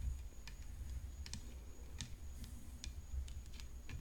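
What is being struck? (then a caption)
Graphite composite tennis racket frame. Long fingernails tap the hollow graphite composite frame and throat of a tennis racket decorated with rhinestones. They make quick, sharp, dry clicks that die away almost instantly, heard over a steady low hum.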